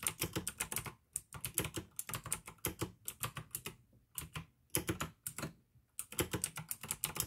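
Fingertips type fast on the keycaps of a full-size pink plastic AUKEY mechanical gaming keyboard with RGB backlight, clicky blue switches and a hollow case. Rapid runs of sharp, bright clicks with a low, hollow thock beneath are broken by brief pauses, and each keystroke dies away almost instantly.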